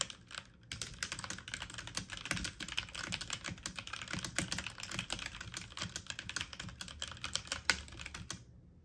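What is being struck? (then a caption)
Plastic mechanical computer keyboard. Fast typing on a full-size backlit mechanical computer keyboard with plastic keycaps, keys pressed quickly with fingertips and medium nails. A dense, steady stream of bright, short clicky taps runs for about eight seconds with brief irregular bursts, then stops.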